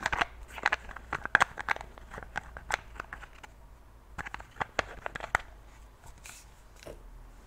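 A tall, partly full glass perfume bottle filled with pink liquid is held in one hand while fingertips and long nails take off, replace and click its gold metal cap. Many quick, sharp clicks and taps come in irregular bursts, bright and dry with almost no ring, followed by softer scraping toward the end.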